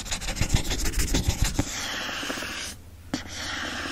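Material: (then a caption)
Paper board. Fingertips and nails scratch the printed back cover and barcode area of a hardcover book with a printed paper-covered board cover held in the hand. Quick, uneven dry scratches come first, then settle into a steady, softer papery rub with a bright hiss. After a brief near-silent pause, one sharper scratch sets the rubbing going again.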